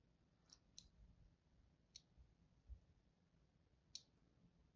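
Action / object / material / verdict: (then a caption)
scrape / solid bar of soap scored with a thin blade / soap / none. A thin blade tip scores the surface of a solid, palm-sized, embossed white bar of soap held in the hand. Four short, bright, crisp scratching clicks stand apart over a quiet low rumble, each dying away almost at once.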